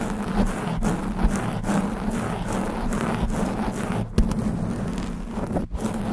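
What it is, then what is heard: Foam microphone windscreen being scratched. Long pink nails scratch fast and aggressively across the top and sides of a black foam windscreen on a studio microphone. The result is a steady, dense, muffled rustling with a strong low rumble, broken by a few brief dips and soft thumps.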